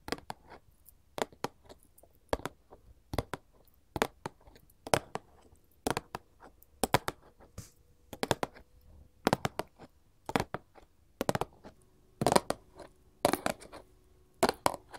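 A printed paperboard candy box, held and then placed on a table, is tapped with gold metal claw jewelry. Quick, dry clicks come in irregular bursts and clusters, each sharp with a bright edge and almost no ring. A faint steady tone sits underneath in places.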